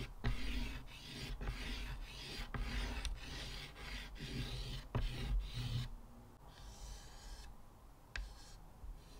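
Fingers hold a short white chalk stick and scratch and draw lines across a flat, solid, square black chalkboard in a wooden frame, rubbing the surface as they go. Steady raspy scraping with a low rumble is broken by a few sharp taps, then drops to softer, thinner strokes near the end.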